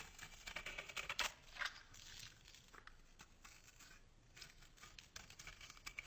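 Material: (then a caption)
Soap. A solid white bar of soap, held in the hand, is scraped with a metal box-cutter blade, curling shavings off it. The result is quiet, dry, bright scratching in quick, irregular strokes, loudest in a few crisp bursts near the start before settling into softer, steady scraping.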